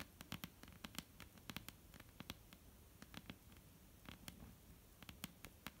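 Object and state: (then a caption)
Wooden tabletop tapped with fingernails. A solid, flat dark-brown wooden tabletop is tapped and scratched with long almond-shaped painted nails. Quick, dry clicks and taps come in irregular bursts, with soft scratching between them, over a low background rumble. Each tap dies away almost instantly.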